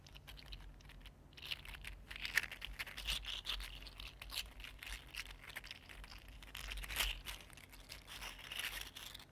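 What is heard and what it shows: A small green 3D printed plastic slug with jointed segments is flexed and twisted by fingers. Its segments rattle and click in a steady run of quick, dry, bright ticks and crinkles, with a few sharper clicks standing out over a low background hum.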